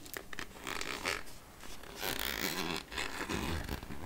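Long nails scratch along the ridged edge of the black plastic lid on a clear plastic candy jar full of chocolate caramels. The result is a series of raspy, zipper-like scraping bursts with a bright, gritty texture and some low rumble underneath, rising and falling in waves with brief quieter gaps.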